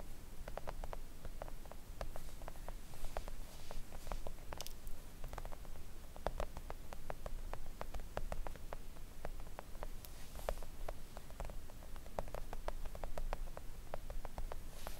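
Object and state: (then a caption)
Silicone nail art mat. Long acrylic nails on both hands tap quickly and gently on a thin, solid, flat pink silicone nail art mat resting on a table. A steady, rapid stream of soft, short, dull clicks plays over a faint low rumble throughout.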